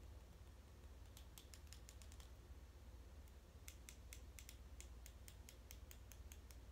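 A large, thin, solid white plastic comb is held in both hands while fingernails tap and strum its teeth. Quick, crisp, bright clicks come in two loose bursts over a steady low hum. The clicks are sharp and ring only briefly.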